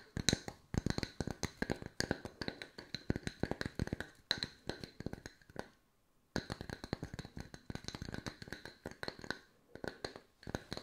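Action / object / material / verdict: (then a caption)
tap / round wooden log-slice coasters / wood / none. Two solid round wood log slice coasters are tapped with long white nails in quick, dense flurries of short, dry taps with a bright, high click and almost no ring. The tapping stops briefly near the middle of the clip, then resumes at the same busy pace to the end.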